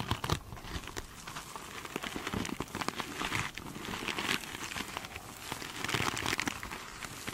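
Long pointed nails scratch and tap across the surface of a glitter mesh sponge, filmed close up. The result is a steady, bright crinkling and crackling texture, broken by sharper little taps that die away almost instantly.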